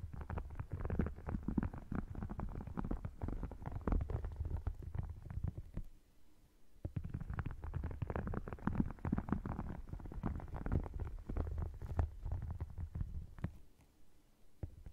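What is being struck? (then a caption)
Faux crocodile-textured leather wallet. Fingernails scratch and tap the scaled panels of an open red faux crocodile-textured leather wallet, producing dense, low, rumbling scratches with quick clicky taps. The activity runs in two long bursts separated by a brief quiet gap around six to seven seconds, then fades near the end.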